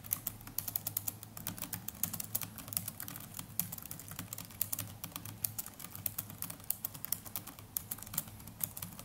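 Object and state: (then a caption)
Plastic laptop keyboard. Fingertips of both hands type continuously on the plastic chiclet keys of a small black netbook's keyboard. A steady stream of quick, light, bright clicks rises over a low, constant hum. Each keystroke is short and dry, with almost no ring.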